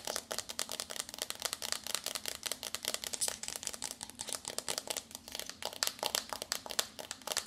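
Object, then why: Cardboard eyeshadow palette. Long nude-painted nails tap rapidly on the front cover of a small, flat rectangular pink and purple foil-printed cardboard eyeshadow palette (Bad Habit Supernova) held up in both hands. Dozens of quick, crisp, bright clicks run steadily throughout, dry and with almost no low end or ring.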